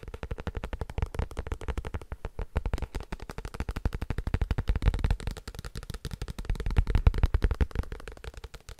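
A paper book is tapped quickly and continuously with fingers, producing a dense stream of short, dull, low thumps that decay almost instantly. The taps come in an uneven rhythm at a soft, fairly steady level, with most of the energy in the low end and little brightness.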